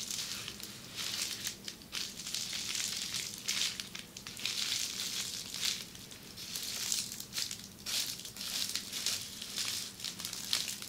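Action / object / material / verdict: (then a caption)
scrape / sheet of plastic bubble wrap scratched with fingernails / plastic / none. Long red-painted nails scratch and press a flat sheet of red plastic bubble wrap resting on a table. Dense, bright crinkling and scratchy rustling comes in uneven surges for the whole clip, with almost no low end.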